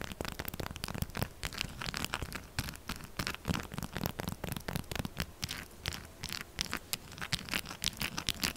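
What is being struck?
Textured soap bar.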